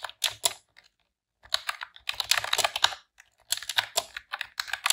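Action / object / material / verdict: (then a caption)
tap / plastic computer keyboard / plastic / none. Long press-on nails and fingertips type rapidly on a pink retro-style plastic computer keyboard with round keycaps. Bright, dry clicks and clacks come in quick bursts with short pauses between them, each keystroke dying away almost instantly.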